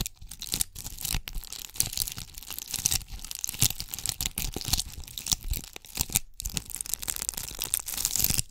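A palm-sized round ornament ball covered in red and gold small tube (bugle) beads is cupped in both hands and scratched with long acrylic nails close to the microphone. The result is a dense, bright, crackly scratching that sounds like tearing or crinkling, with rapid clicks running together and only brief pauses. A faint steady low hum sits underneath throughout.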